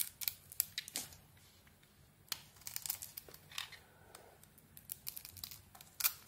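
A solid white, glitter-covered Isana Med bar of soap is held in the hand while a metal blade shaves its surface. A quiet series of short, crisp, bright scraping strokes comes and goes in irregular bursts, each stopping almost at once with no ring.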